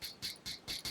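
A plastic watch is tapped to judge its material by sound, giving five light, bright clicks that ring briefly. The clicks sound like plastic.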